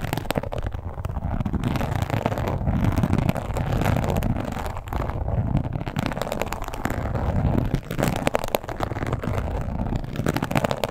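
A red croc-embossed leather wallet lies flat and is scratched and tapped with long pointed acrylic nails. The result is a steady, dense stream of rough scratching and quick, dry taps that sits mostly in the low range with little brightness. It continues without pause for about eleven seconds.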